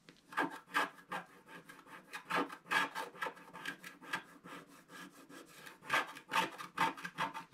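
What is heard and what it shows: A wooden stick scrapes the black coating on the right side of a flat scratch-art paper page. The result is a steady series of dry, rasping scratch strokes, roughly two per second and unevenly spaced, with a bright papery hiss and almost no low end.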